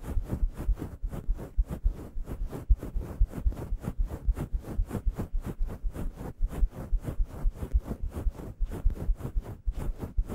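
Long yellow nails rapidly scratch a grey, fluffy synthetic faux-fur microphone windscreen in staggered strokes. Each stroke makes a soft, deep, muffled rustle with a faint high hiss on top, at roughly four strokes per second in an uneven rhythm. Each stroke cuts off almost at once, and the strokes run together into a continuous fluffy scratching texture.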